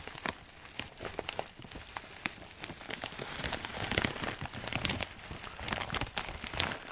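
A clear plastic zip bag of dry herbs, laid flat in the hands, is squeezed and crinkled. It produces a dense, bright crackling and rustling, dotted with sharp, fast-decaying clicks. The sound stays steady and close, with louder bursts toward the middle and end.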